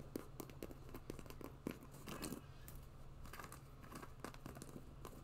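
Long nails tap and scratch the side of a hollow, empty white quilted faux-leather boot with a fur cuff, held in one hand. Quiet, dry, short clicks land at an uneven pace, with a brief scratchy rasp partway through, over a low steady hum.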